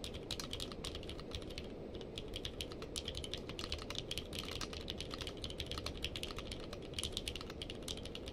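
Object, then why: Mechanical keyboard with plastic keycaps. Two hands type with the fingertips on a purple-case mechanical keyboard with plastic keycaps. A fast, steady stream of short, bright clicks and clacks rises over a constant low rumble, each keystroke dying away almost instantly.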